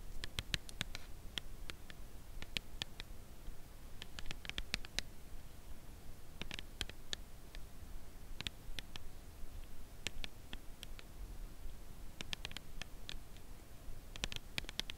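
Long acrylic nails tap the end of an upright red Lindt Lindor cardboard box holding a chocolate bar. The result is soft, dry, bright clicks that come in loose clusters with pauses between them over a low, steady background hum. Each tap dies away almost instantly.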